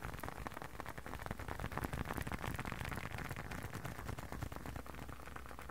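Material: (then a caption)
Leather. Fingertips and nails tap and scratch the surface of a small, hollow, folded blue and dark leather wallet held close to the ear and microphone. The result is a dense, steady stream of soft, quick taps and scratchy rustling that is weighted toward low frequencies.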